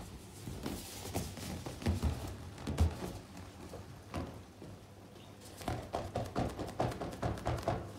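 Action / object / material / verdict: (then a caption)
tap / inflated latex balloon / latex / none. Both hands tap and scratch the taut surface of a large, inflated, hollow, air-filled pink latex balloon with fingertips and long nails. Soft, low, hollow thumps with very short ring mix with a dry scratching rustle. After a brief quieter stretch, a quick run of evenly spaced taps follows.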